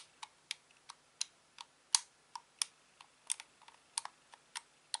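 Fingertips press and click the face buttons, D-pad and thumbsticks of a hand-sized, grey-black, hollow plastic Xbox controller held in both hands. The result is an irregular series of quiet, sharp, bright plastic clicks with almost no low end and no ring.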